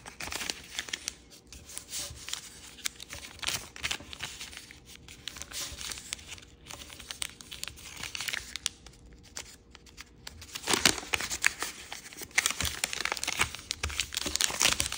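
A small folded strip of yellow and purple kaleidoscope origami paper is creased and rubbed flat by fingertips. The result is a steady run of bright, dry crinkling and scraping with brief crisp snaps, growing louder and denser toward the end.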